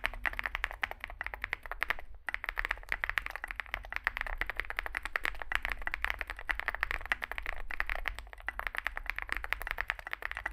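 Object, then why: Mechanical keyboard with plastic keycaps and metal case. Two hands type with their fingertips on a Zoom65 65% mechanical keyboard with a solid metal case and grey and white SA-profile plastic keycaps, resting on a desk mat. Fast, dense clacky key presses come in a steady stream with a bright, crisp tone centered near 1.8 kHz, pausing only briefly around two seconds in. Each press is short and dry, with a low background hum underneath.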